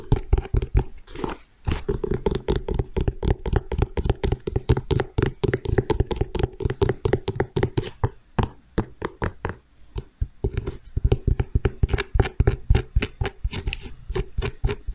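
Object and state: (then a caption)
Leather sneaker tapped. Fingertips and nails tap rapidly on the upper and toe area of a single grey and white leather Nike Jordan 1 Low sneaker, hollow and empty and held in one hand. The taps are dull, low, hollow knocks with no ring, coming in quick bursts with brief pauses throughout.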